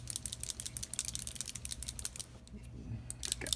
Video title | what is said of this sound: Tips Tricks and Techniques with T #010 Liquid H2O color from Brea Reese and Liquid Pixie Dust | shaking it up make sure you hear that little ball shaking in there